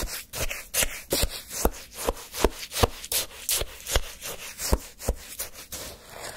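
A flat wooden spoon scrapes and stirs through a cup of icy, granular orange sherbet shaved ice held in one hand, lifting slushy chunks. Each stroke gives a crisp, crunchy, gritty scrape with a bright, broadband texture that cuts off quickly. The strokes repeat at an uneven pace of roughly two to three per second.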